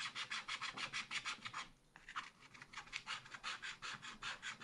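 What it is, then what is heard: Scratch-art card being scraped. A wooden stylus scratches repeated strokes across the sky area of a thin black wax-coated scratch-art card in a spiral pad. It makes a rapid, bright, dry rasping, with a brief pause near the middle before the steady strokes resume.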